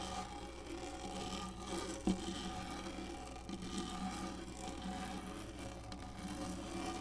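Long nails scratch the textured top of a black hollow plastic lap desk, making a steady rasping, scraping texture over a low constant hum. A single sharper tap stands out near the two-second mark before the scratching carries on evenly.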